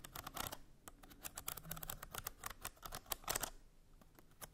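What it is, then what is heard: Bamboo slat box. Long nails scratch along the ridged slats of a small hollow bamboo slat box and tap on them. The result is a rapid run of dry, bright clicks and scratchy rasps with almost no ring, over a soft, low rumble.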